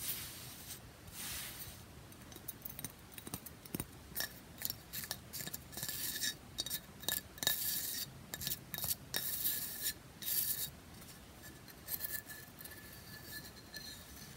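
Long fingernails tap and scratch along the notched side edge and top of a rectangular, solid pressed bath bomb brick with a segmented grid, held in one hand. Quick, irregular dry taps mix with bursts of bright, hissy scratching over a faint steady background, with a thin high tone near 3.8 kHz coming through during the scratches.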